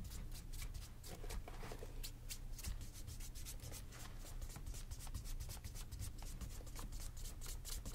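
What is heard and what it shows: A hollow brown leather Santoni dress shoe, held in one hand over a workbench with a second shoe sitting idle beside it, is rubbed briskly with a cloth wrapped around the fingers during shoe shine buffing. Rapid, bright swishing strokes repeat steadily over a constant low hum, with the buffing keeping an even pace throughout.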